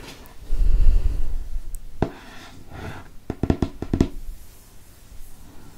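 A fingernail traces and scratches the paper of a hardcover book held open to its printed inner flap with an owl. A low, soft rustle comes first, then a single dull tap and a quick run of short, dry taps with almost no ring, fading back to quiet scratching.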